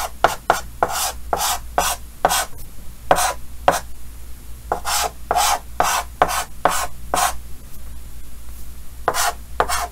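Yellow chalk held in the fingers scratches short strokes across a large, flat, solid painted chalkboard with a green frame. About eighteen quick, dry, scratchy strokes come in uneven bursts, each a bright hiss with a mid-range squeak that cuts off almost at once. A low, steady hum sits underneath throughout.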